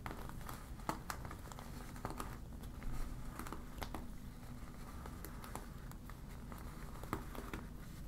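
A deflated yellow vinyl beach ball with a black printed eye is crinkled and scratched with long nails. Quiet, soft crinkling and scratching over a low rumble, broken by short, sharp clicks and brief bright scratch bursts.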